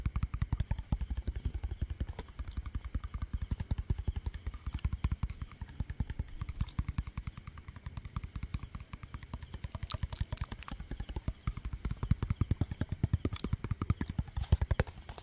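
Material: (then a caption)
Plastic. A clear plastic bottle with a white cap and liquid inside, held sideways, is tapped rapidly with fingertips and nails. The taps come in a fast, continuous stream of short, dull, low thuds that die away almost instantly, with occasional sharper clicks from the nails.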